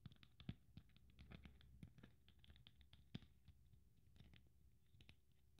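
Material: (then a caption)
Beads. A blue beaded glitter Christmas ornament is held in the hand while fingernails scratch over its beads and glittery surface. The result is a quiet, irregular patter of short, dry scratches and clicks over a low background rumble, with a few sharper, louder ticks standing out.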